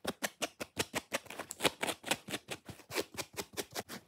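Fingernails rapidly scratch a dry, watermelon-shaped foam kitchen sponge with a rope loop, working across its red foam surface and top edge. About nineteen quick, bright, papery scratching bursts follow one another in an even rhythm, each dying away almost instantly with very little low end.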